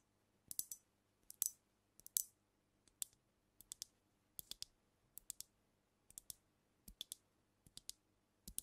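Long nails tap on a brown glass cognac bottle held tilted over the mic. Quiet, bright, dry clicks come in irregular clusters of two or three across the clip. Each tap stops short with almost no ring.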